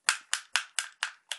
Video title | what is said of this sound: presentation cyma cm030 | lui est vraiment en plastique mais totalement plastique